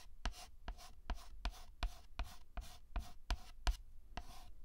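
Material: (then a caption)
Chalk. White chalk is scraped across a black chalkboard in eleven short, dense scratching strokes at an uneven pace. Each stroke makes a brief gritty scrape with a bright, hissy edge over a low thump, with quiet gaps between strokes.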